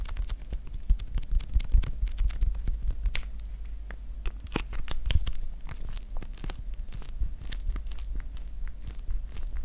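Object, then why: Plastic shrink wrap on a roll of PVC electrical tape. Fingertips squeeze, crinkle and pick at the crinkly clear plastic shrink wrap on a small roll of blue PVC electrical tape, held close to the mic. Dense, rapid crackles and sharp bright snaps sit over a steady low rumble throughout.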